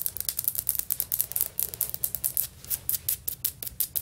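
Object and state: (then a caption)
Tile floor, hard surface. Fingernails from both hands tap and scratch fast across solid beige floor tiles with grout lines, likely vinyl or ceramic. The result is a rapid, uneven run of dry, bright clicks and short scrapes with almost no ring.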